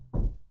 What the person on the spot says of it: even when you tap on it it doesn't rattle the same it's it much deeper